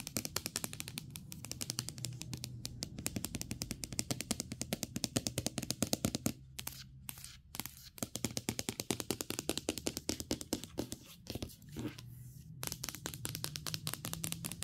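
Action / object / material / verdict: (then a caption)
tap / aluminum laptop lid / aluminum / none. Long pink acrylic nails tap and scratch rapidly on the flat lid and along the front edge of a closed space-grey aluminum MacBook Pro laptop, a thin hollow metal shell with a dark Apple logo. Dense, bright clicking taps with very short ring run almost continuously over a steady low underlayer, with brief gaps around the middle and near the end.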